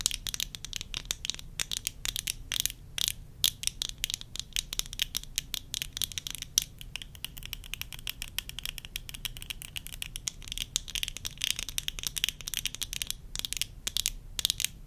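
Long nails tap and scratch the rims and lenses of worn tortoiseshell plastic eyeglasses. The result is a dense, continuous stream of quick, dry clicks and scrapes, bright and crisp with almost no ring. A faint low hum sits underneath throughout.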